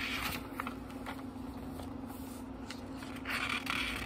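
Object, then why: Small book with thin paper pages. Fingertips lift and turn the thin paper pages of a small, thick book one by one, making soft, bright papery rustles and crisp swishes over a low, steady hum. The page flicks come in quick, uneven succession, with a fuller, louder rustle near the end.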